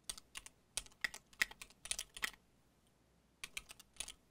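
A compact mechanical keyboard with cream and dark plastic keycaps on a solid case is typed on with the fingertips of both hands. Bright, short clacks come in quick irregular bursts with a pause in the middle, each tap dying out almost instantly.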